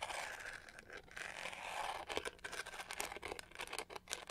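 Long nails scratch along the studded pink-gold back of a hollow plastic hair brush held upright. A quiet, bright, dry rasp runs steadily for the first two seconds, then breaks into quicker, sharper clicking scrapes with almost no low end.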